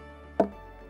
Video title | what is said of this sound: Jamaica Magazine 18/12/2020 | gave you that sound because it's hollow inside